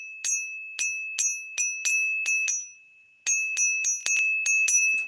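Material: Silver.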